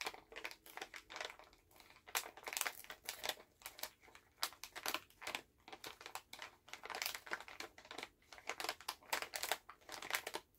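A full Halls plastic cough drop pouch is held in both hands while the fingers squeeze and crinkle the bag. It makes a quiet, steady stream of sharp, crackly crinkles, bright and airy with almost no low end, each burst dying away almost at once.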